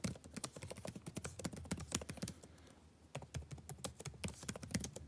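Fingertips type steadily on a backlit laptop keyboard with plastic keys, making quick, light clicking taps. The taps have a low body with bright clicks on top and die away almost instantly. There is a short lull near the middle before the typing picks up again.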